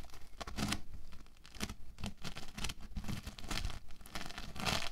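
A large loose mass of orange bead foam clay (playfoam) rests on a white table while both hands press, knead and tear it with fingertips and palms. The result is a steady run of soft tearing, crackling and crinkling bursts over a low rumble, with brief bright peaks as the clay pulls apart.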